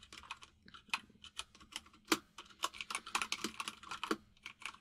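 Both hands type rapidly with their fingertips on a white full-size mechanical keyboard with plastic keycaps resting on a desk. The result is a quick, irregular stream of sharp, bright clicks and clacks, each dying away almost instantly, with a few louder keystrokes standing out.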